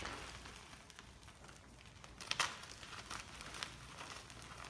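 Two hands crush and rub small white lumps of gym chalk (magnesium carbonate) into powder over a chalk mound, giving a dry, bright crumbling crackle. A few sharper crunches stand out near the middle, over a steady, soft gritty hiss.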